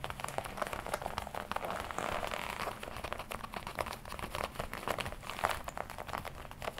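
Fingertips tap and scratch the black leather chest panel of a worn red-and-black smooth leather jacket. Quick, dry taps mix with soft scratchy crinkling in a steady, close stream. The low-level texture is dense and brushy, and each tap dies away almost at once.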